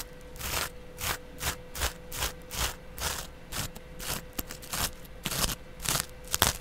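A flat, soft, porous yellow cellulose sponge is held up and scratched along its face with a small double-edge razor blade held in the fingertips. About fifteen separate strokes give bright, crackly scraping bursts with a faint low rasp underneath, each ending quickly.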